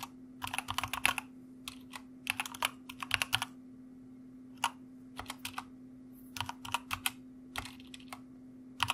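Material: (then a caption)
Plastic. Fingertips of both hands type quickly on a white plastic mechanical keyboard with backlit keycaps, tapping out bright, crisp clacks in fast bursts separated by short pauses. Each keystroke is short and snappy with almost no ring, over a faint steady low hum.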